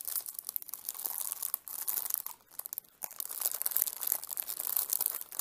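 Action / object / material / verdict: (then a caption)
scrape / plastic CD case in cellophane wrap / cellophane / none. Fingertips and nails rub and crinkle the clear cellophane wrap on a small, flat CD case with a red and orange printed cover, held in both hands. The result is a dense, bright, crisp crackling with almost no low end. It eases briefly into near silence midway, then picks up again.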